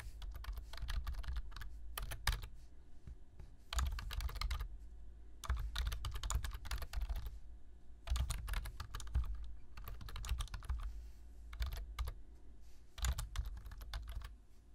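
Fingertips tap the keys of a black plastic low-profile computer keyboard while typing. Rapid bursts of bright, clicky keystrokes over dull low thumps are separated by short pauses. Each click dies away almost instantly.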